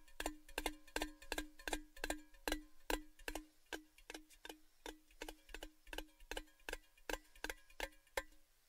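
A tall, hollow, cylindrical red-painted metal Baileys gift tin, held upright, is tapped on its side with the fingertips in an unsteady rhythm of about 31 quick taps. Each tap is a short, hollow metallic tonk with a clear ring near 309 Hz and brighter overtones above it. Every tap dies away almost at once.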